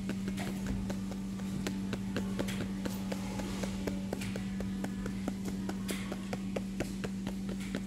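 A paper magazine is tapped in a steady, quick series of light, crisp taps, with no talking. A constant low hum runs underneath the whole time.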